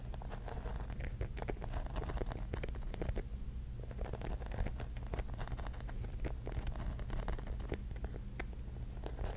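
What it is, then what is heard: Mirror-tile mosaic mushroom. Long nails tap and scratch across the glass tiles of a pink mirror-tile mosaic mushroom cap. Rapid, dense, light clicks and bright scratchy ticks continue throughout, over a steady low hum.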